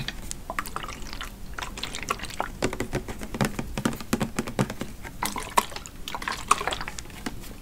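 Fingertips and nails tap and scratch a pink, hand-sized body mist spray bottle that looks plastic and full of liquid, with a copper cap and a printed 'Oahu Coconut Sunset' label, held close in front of a microphone. The result is a dense run of quick, dry clicks and scratchy rustles with some brighter plastic ticks standing out, each dying away almost instantly.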